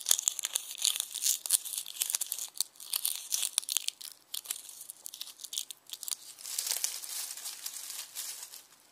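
Fingertips pinch and crinkle dry, brittle onion skins through a red plastic mesh bag full of them. Dense, bright, papery crackles and sharp snaps come in quick bursts with no low end. Toward the end they blend into a steadier rustling hiss before fading.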